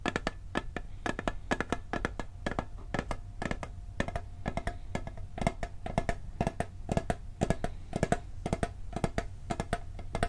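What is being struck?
Tinplate cookie tin.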